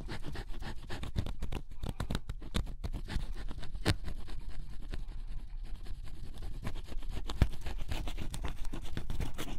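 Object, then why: Coated cardboard puzzle pieces scraped with a wooden stylus. A wooden stylus scratches the black coating off cardboard scratch-off jigsaw puzzle pieces, revealing yellow and blue underneath. Dense, irregular, dry scratching strokes follow one another rapidly with no ring, their sound weighted heavily toward the low end with a faint bright edge.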